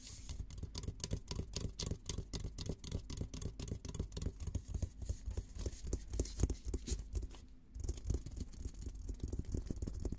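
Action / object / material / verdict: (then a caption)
tap / steel military helmet / steel / none. Fingertips tap and scratch the dome of a hollow, olive-green painted steel military helmet. They make a quick, fairly steady run of soft, low, hollow thuds with faint scratchy texture, and each tap dies away almost at once. The tapping pauses briefly just before the eight-second mark, then resumes to the end.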